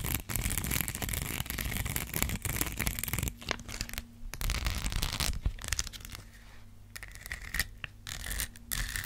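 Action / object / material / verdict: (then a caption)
scrape / rhinestone sticker sheet / rhinestones / none. A gold rhinestone sticker sheet, bent slightly in the hand, is scratched with long black acrylic nails close to the mic. The result is a dense, rapid, uneven bright scratching and rasping with a strong low rumble underneath. The scratching drops back to a quieter, steady low hum in a few brief pauses.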